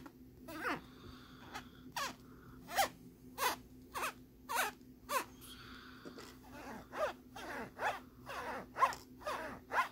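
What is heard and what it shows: Fingernails and fingertips scratch the ridges of a thin, flat plastic lenticular postcard printed with a jellyfish image. Eleven short, bright, zipper-like rasps sound in a quick uneven rhythm. A faint steady hum sits beneath them.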